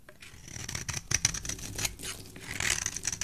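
A hand with dark-painted nails holds a solid, hand-sized bar of layered yellow and white soap while a metal blade scrapes it into curled shavings. The strokes make quiet, bright, crisp scraping and shaving sounds with a faint high whistle-like tone. Each cut stops dry with no ring.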